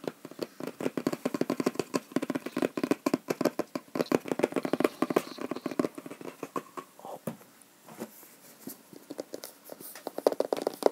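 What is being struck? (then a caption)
Small cardboard box. A small, hollow, printed cardboard Google Chromecast product box is held in both hands and tapped with fingertips and nails on its faces and edges. Rapid, dry, hollow taps and clicks come in quick irregular bursts, with a brief lull near the middle. Each tap dies away almost instantly.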